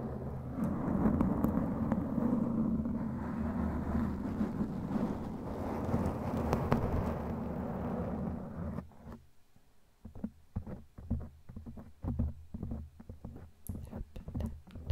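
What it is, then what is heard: Foam microphone windscreen scratched and tapped. Long glittery claw nails scratch steadily across a black foam microphone windscreen for about nine seconds, making a dense, low, rumbling rustle. After a brief near-silence, the nails tap and brush the foam in quick, uneven, muffled thumps.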